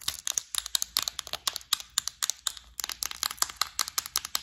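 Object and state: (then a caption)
Plastic bead organizer tapped with nails. Long acrylic nails tap and scratch the lid of a clear plastic, flower-shaped bead organizer full of gold beads, held up close. About thirty quick, bright, dry clicks with light scratching between them sound in a steady irregular rhythm, each cutting off at once with no ring.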